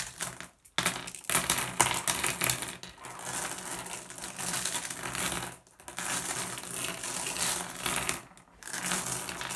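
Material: Glass.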